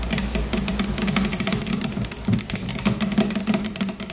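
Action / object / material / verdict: tap / plastic shampoo bottle / plastic / none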